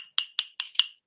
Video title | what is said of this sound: ME498 Lecture - Monday April 20th | you tap on it it sounds like plastic